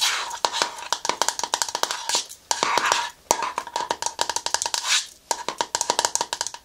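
A hand-sized, hollow green plastic cream jar with a white plastic lid is tapped and scratched with long nails on the lid and sides. Quick, bright clicks come in dense bursts over a steady hollow tone around 910 Hz, with soft scratchy hiss between them and almost no low end.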